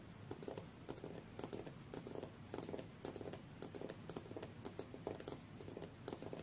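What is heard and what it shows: Fingernails from both hands tap rapidly on the aluminium back casing of a rose-gold tablet lying face-down on a fur rug. About 27 quiet, short, dull clicks arrive in an irregular patter, each fading almost at once, with a soft hollow tone near 414 Hz over a low rumbling background.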